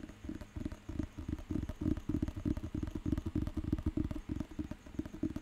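Fingertips tap rapidly on the cover of a thick, solid paper dictionary book, then on its back edge. The taps land as a quick, uneven patter of dull, muffled knocks with a low, woody body and no bright edge. Each one stops almost instantly.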